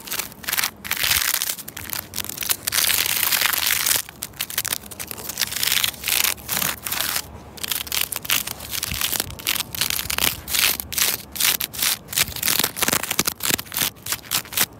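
Long red nails scratch, rub and crunch a bundle of dry straw or reed stalks bound with twine around the base of a tree trunk. The result is dense, bright, crackling crunches in rapid bursts, with almost no low end.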